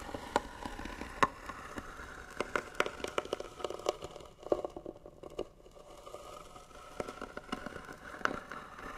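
Fingernails scratch rapidly across the lid of a hollow white wooden box, making a dense run of dry, crackly scrapes with sharp clicks. The scraping has a hollow midrange tone around 1 kHz and little deep bass. It eases briefly around the middle before picking up again.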